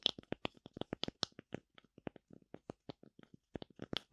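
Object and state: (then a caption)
Wooden tree slice tapped with nails. A thin, solid, hand-held oval slice of light wood with a bark rim is scratched and tapped on its cut face by long nails. The result is a quick, dense run of short, dry clicks and scrapes, bright and crisp with almost no ring. The sounds vary slightly in loudness throughout.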